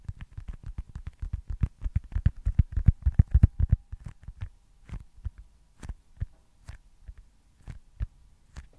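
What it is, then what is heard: Foam stress ball. A small, solid white foam baseball stress ball is tapped with the fingertips, making soft, dull, low thumps with almost no ring. Quick, dense tapping during the first four seconds slows to sparser, quieter taps through the end.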